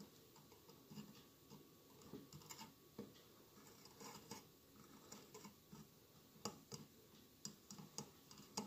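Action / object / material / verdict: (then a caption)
tap / glass mosaic candle holder / glass / none. Fingertips and nails tap the tiled sides of a hollow glass mosaic votive candle holder with a lit candle inside. The quiet, irregular taps give bright, short clicks with a faint low body and little ring, and a soft scratchy rustle runs beneath them.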